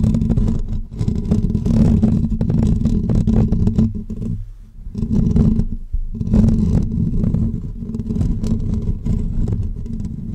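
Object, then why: Woven metal wire microphone grille. Short natural fingernails of both hands scratch the hollow, dome-shaped woven metal wire grille of a pink condenser microphone. The result is a dense, continuous scratching rumble, heavy in the low end, with a steady hum near 234 Hz. It briefly eases off around the middle of the clip before resuming just as strongly.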